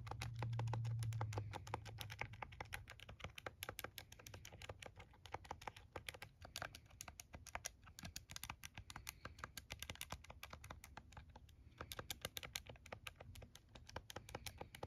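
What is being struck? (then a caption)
Handheld plastic calculator with rubbery keys. Rubbery keys on a handheld plastic TI-34 scientific calculator, held in the hands, are pressed and tapped rapidly with the thumbs. The result is a fast, uneven stream of short, dry clicks with a bright edge over a low, steady background rumble.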